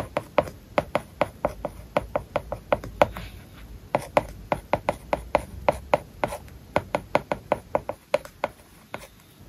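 A plastic stylus writes on an iPad lying flat, its glass screen covered with a matte plastic paper-like film. A steady run of sharp, dry taps and short scratches sounds across the surface, each with a faint hollow tone around 590 Hz and almost no ring.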